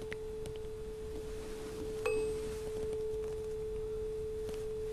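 A small, solid steel tuning fork, held by hand over the open top of a tall glass resonance tube, is tapped with a striker and rings with a steady pure tone near 434 Hz. A fresh tap about two seconds in adds a brief metallic click and faint high overtones. The tone then sustains evenly to the end of the clip.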